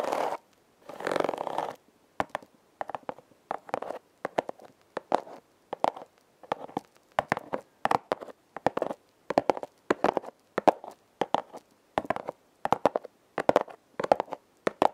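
Long red nails scratch rapidly across a hollow, red heart-shaped corrugated cardboard box. Two sustained rasping strokes open the clip, followed by a steady run of short, dry scratching bursts in quick clusters. The sound is midrange, with crisp high edges and no ring.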